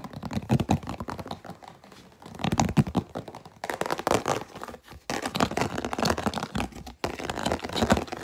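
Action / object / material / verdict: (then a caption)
scrape / plastic food container with lid / plastic / none. Long nails and fingertips tap and scratch a hollow, empty, clear plastic food container with an orange vent lid. The result is fast, dense bursts of dry, short clicks and scratchy crinkling, broken up by brief pauses.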